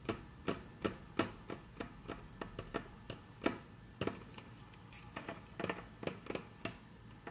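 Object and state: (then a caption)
Wooden tabletop tapped with nails. Very long natural nails tap on a flat, solid, dark brown wood-grain tabletop as the hands shift slightly. About twenty short, crisp clicks with bright attacks and quick decay come in an irregular rhythm. Soft tracing sounds fill the gaps, all at a quiet level.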